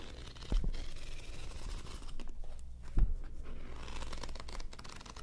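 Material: Paper.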